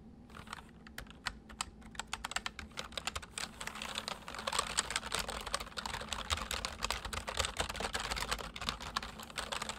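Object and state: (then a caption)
Plastic mechanical keyboard. Two hands type on a full-size white plastic mechanical keyboard with white keycaps resting on a wooden desk, fingertips pressing and tapping the keys. Sharp, bright clicks with very short decay start sparse, then become a dense, louder stream of rapid keystrokes after about three seconds, over a faint low hum.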